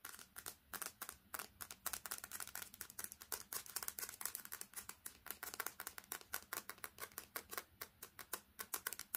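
Long painted nails quickly tap and scratch the glass screen and frame of a smartphone with a metal back, held up close. Dozens of rapid, crisp clicks with bright scratchy edges come in an uneven, steady stream. The taps are quiet and die away almost instantly, with very little low end.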